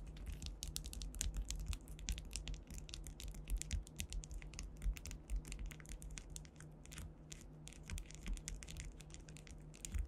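Long white acrylic nails scratch and tap across a solid, flat panel densely covered with faceted clear rhinestones, likely acrylic. A rapid, irregular stream of bright, crisp clicks and scratchy ticks plays over a steady low hum throughout.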